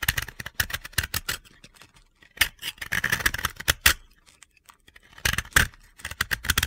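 The remaining half of a blue-yellow pressed-powder bath bomb disc is held in the hand and scraped with a metal utility-knife blade. Quick, dry, gritty crunching scrapes come in rapid bright bursts, separated by brief quiet pauses.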